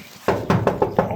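Five quick knocks on the steel cab corner of a 1945 Ford F100 "jailbar" pickup under test paint give short, dull taps that die away almost at once. The corner is all metal with no body filler, apart from a light skim coat.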